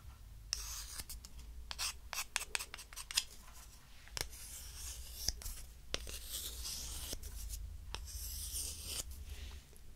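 Two small, thin disposable wooden spoons, held one in each hand, are rubbed and tapped against each other. Dry, bright scraping swells come and go, broken by sharp, short wooden clicks that die away at once. A steady low hum runs underneath throughout.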